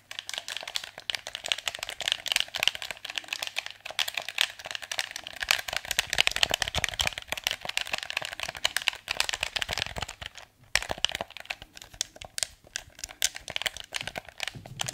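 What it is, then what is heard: Plastic game controller. A hollow blue plastic PS4 controller is turned in the hands while fingertips tap its shell and click its buttons. The result is a dense stream of quick, dry, bright plastic clicks and taps with almost no ring, briefly pausing just before the eleventh second.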